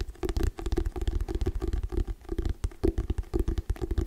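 Fingernails tap and scratch fast on the cover of a hardcover paper book held right against the mic. The result is a rapid, uneven run of dull, boomy thumps that are heavy in the low end, with a faint scratchy rasp between them and almost no ring after each tap.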